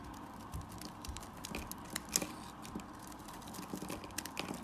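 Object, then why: Bar of soap scraped with a blade. A black utility blade scrapes and carves shavings from the edge of a solid orange-yellow bar of soap held in hand. Soft, dry scraping runs throughout, broken by short, bright crunchy clicks as the shavings come away.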